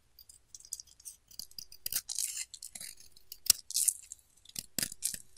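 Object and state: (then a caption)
Bar of soap being shaved. A solid pink oval bar of soap is held in hand while its edge is shaved with a utility knife blade. The clip gives bursts of crumbly scraping at a high, bright, hissy pitch with no low end. The scrapes are separated by short quiet gaps.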